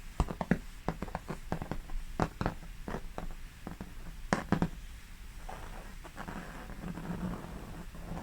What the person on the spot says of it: you can hear the texture of the oil paint